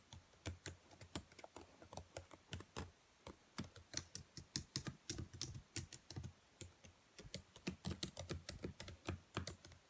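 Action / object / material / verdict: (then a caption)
tap / plastic laptop keyboard keys / plastic / none. Long nails tap and type across the black plastic keys of a dark laptop keyboard. Quick, sharp clicks come in irregular bursts with brief pauses, each tick bright on top with a low thud beneath and almost no ring.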